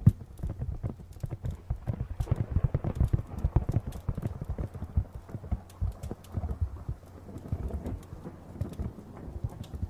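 A hollow, medium-sized printed cardboard retail box is tilted near the mic and tapped rapidly with fingernails. The result is a continuous patter of short, dull, low knocks with a boxy resonance and very little high end, each tap dying away almost instantly.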